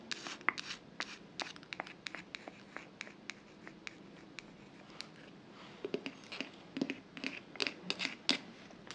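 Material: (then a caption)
Glass. A medium glass jar candle filled with solid pale yellow wax, with a bamboo/wood lid and a kraft-paper "Oud Wood" label, is held close to the microphone and tapped and scratched on its glass sides with long acrylic nails. Quick, dry clicks and scratchy strokes come in an irregular flurry, bright and thin with almost no low end. The taps are sparse and soft early on, then grow denser and sharper toward the end.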